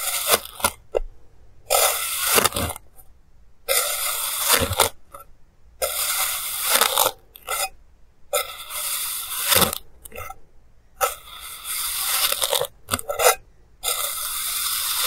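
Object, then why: Kinetic sand cut with a plastic blade. A clear plastic blade repeatedly slices down through a flattened, solid mound of purple kinetic sand, making parallel cuts. Each pass gives a bright, gritty scraping and crumbling hiss in separate bursts, with soft crackles between them.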